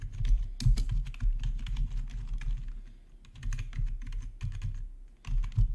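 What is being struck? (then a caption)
Plastic computer keyboard. Fingertips type on a black plastic RGB backlit gaming keyboard, with some single key presses by the right index finger. Quick, dense keystroke clicks with a heavy low thump come in bursts, with a brief lull near the middle before the typing picks up again.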